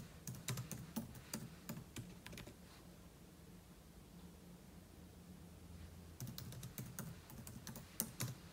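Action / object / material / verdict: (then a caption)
tap / laptop keyboard with plastic keys / plastic / none. Fingertips tap the plastic keys of a silver aluminum laptop, with an open book lying untouched beside it. Two bursts of quick, crisp key clicks come at the start and end, separated by a pause of a few seconds. A steady low hum fills the gap.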